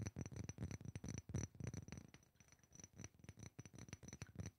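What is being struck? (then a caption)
Small glass perfume bottle with liquid. A small rectangular glass perfume bottle, partly filled with yellow liquid, is tapped quickly with fingertips and nails. The taps come in a fast, uneven patter of short, dull knocks with a low, muffled body, a faint steady high tone and light clicks. They fade slightly toward the end.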